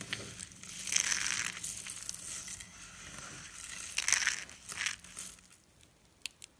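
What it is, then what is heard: Dry soap shavings. A bare hand scoops, presses and crushes a heap of thin, brittle, dry white soap shavings on a countertop, squeezing them between the fingers and palm. Dense, bright crunching and crackling comes in several surges, the loudest around the first and fourth seconds. It fades to sparse, sharp crackles at the end.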